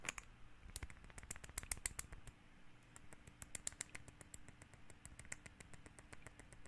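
A small amber glass essential oil bottle with a teal cap is held up and tapped with fingertips and nails. Quick, irregular bright clicks sound in a steady stream, each dying away at once with no ring, over a quiet low background.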